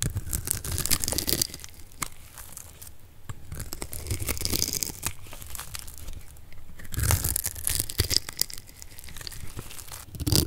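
A solid orange bar of dry soap, held in the hand, is cut into small cubes with a metal blade. It makes repeated crisp, crunchy crumbling and tearing sounds with bright, sharp edges and a low rumble underneath, in bursts over about ten seconds.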